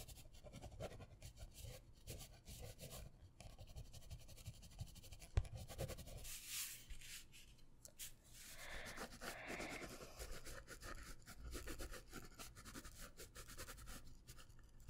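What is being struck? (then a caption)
Paper sketch pad with pen. A pen draws across a sheet of a white paper sketch pad held in the hands, making quiet, continuous scratching and rubbing strokes over a low background rumble. Around the middle comes a single sharp tick, and the later strokes turn broader and brighter as the pen sweeps across the paper.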